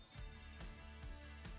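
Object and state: Nothing is struck.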